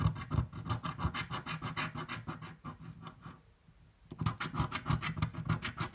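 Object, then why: Paper scratch-off ticket scraped with a coin. A coin scratches the coating off a green, thin-card paper scratch-off lottery ticket resting on a table, in quick repeated strokes. The rapid, raspy scrapes carry a low, thumpy body with bright scratchy edges. There is a brief quiet pause just past the middle before the strokes resume at the same pace.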